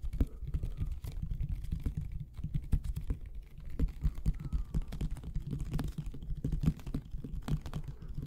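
Fingertips and nails tap quickly on the plastic and label of a medium white Elmer's plastic glue bottle with an orange cap, held sideways near the microphones with a mouth close by. The result is a quiet, rapid, steady patter of short, dull, low-heavy taps that sound much like typing.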